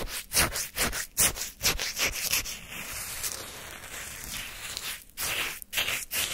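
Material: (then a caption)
Ice. A wooden spoon scrapes and lifts crunchy, granular orange shaved-ice sorbet from a paper cup held in hand. Bright, gritty scraping strokes repeat at a quick, uneven pace, with a longer continuous scrape through the middle before the short strokes return.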